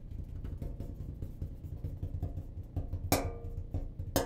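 The cabinet of a clothes dryer is tapped, giving a steady run of dull, low, hollow knocks dominated by bass. Two sharper, brighter taps stand out above them, each with a brief ring around 270 Hz that dies away quickly.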